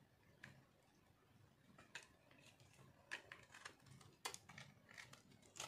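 A metal knife scrapes crunchy shavings off a solid pink speckled dry soap bar held in one hand. Quiet, dry, bright scratching crunches come in short, sharp bursts at irregular intervals, each fading almost instantly over a faint low background hum.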